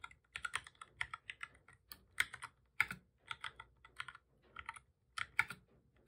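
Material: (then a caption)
Plastic. Both hands type steadily with their fingertips on a full-size black plastic computer keyboard with a hollow body, resting on a desk. Quick, bright, clicky key taps come in uneven bursts, each tap dying away almost instantly with almost no low thud.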